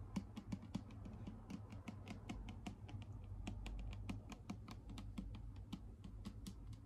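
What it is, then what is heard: Plastic bottle tapped with fingernails. Long pink acrylic nails tap rapidly on a clear plastic Garnier micellar water bottle with a pink cap, held upright and partly full of liquid. Each tap is a short, dry, bright click that dies away almost instantly, over a steady low hum.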